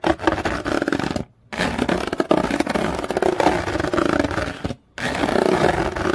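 Long fingernails scratch and rake across the fine ridges of a flat yellow corrugated paper or card sheet. They make a dense, rough, rasping scrape with a fast ribbed texture. The scraping comes in three sustained bursts separated by two brief silences.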